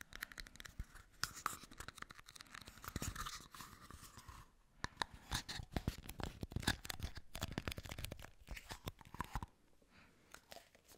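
Fingertips and nails tap and scratch two small, hollow, empty red plastic party cups, held one in each hand close to the mic. Rapid, irregular clicks and sharp taps mix with dry, bright scratching and rasping. There is a brief lull midway, and the activity quiets to sparse light taps near the end.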